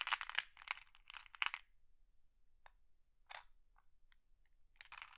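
Hands with long blue nails press, rub and scratch across a pile of small, solid, flat glass decorative pebbles in a round wooden tray, shifting them so they clack together. Several dense, bright, crunchy bursts of clattering come first, then a quieter stretch of sparse sharp clicks, and a final burst of clacking rises again at the end.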